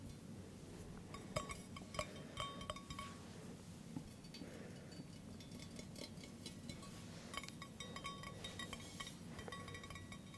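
An empty, hollow stainless steel camping mug with a handle is held in the hand and tapped with fingertips and nails, producing quick, short metallic clinks. The clinks come in bursts, mainly in the first few seconds and again toward the end, over a steady low background hum.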